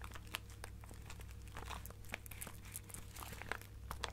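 Long nails scratch and squeeze a small clear plastic bag partly filled with colorful plastic sequins. The result is quiet, continuous crinkling, with bright, sharp ticks as the sequins rustle and shift inside. A steady low hum runs underneath throughout.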